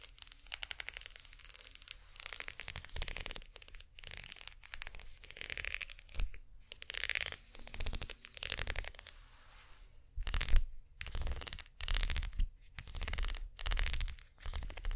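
Long painted nails scratch along the spiral ridges of a makeup brush's ridged plastic unicorn-horn handle, held in both hands. The result is a series of dry, rasping, crinkly scratching bursts with bright, gritty texture over a faint low rumble, separated by short quiet gaps.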